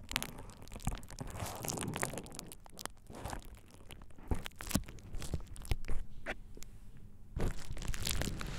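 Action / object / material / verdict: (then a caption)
scrape / plastic bubble wrap sheet / plastic / none. A thin purple plastic bubble wrap sheet is pressed over the ears of a dummy-head microphone and squeezed, rubbed and crinkled by hands and fingertips. Close, dense crinkling and crunching with many sharp, bright snaps over a heavy low rumble of handling noise, swelling and easing throughout.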